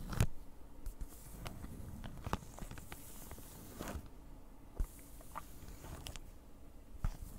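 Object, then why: Plastic-wrapped cardboard package. A flat, printed cardboard cross-stitch kit package in plastic wrap is scratched and tapped with long nails. The result is quiet, low-heavy scratching with slight crinkling, broken by a few sharp, short taps and brief bright clicks.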